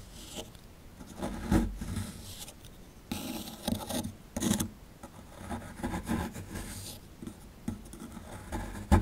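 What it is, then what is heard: Plaster dig block being scraped. A plastic chisel tip scrapes the crumbly plaster at the lower right of a solid plaster fossil dig block held in the hand. The result is a series of irregular, dry scraping and rasping bursts, heavy in low-end thuds with faint gritty high hiss, separated by short quiet pauses.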